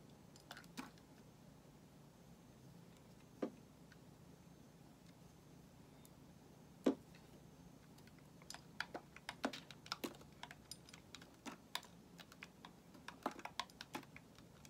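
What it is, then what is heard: Bar of soap being shaved. A solid white bar of soap held in the hand is shaved with a metal utility knife blade. Short, dry scraping clicks with bright edges come sparsely at first, then crowd together in quick bursts over the second half, above a quiet steady low hiss.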